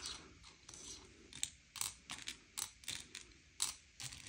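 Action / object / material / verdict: scrape / sugar-shelled chocolate candies on a plate / candy shell / none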